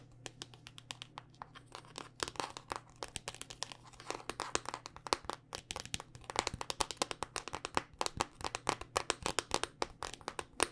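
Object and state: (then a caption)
Smartphone tapped with fingernails. A thin, solid black smartphone of glass and plastic, held upright in both hands, is tapped rapidly with long dark-painted nails. Dozens of quick, crisp clicks overlap in irregular bursts, with a faint steady low hum underneath.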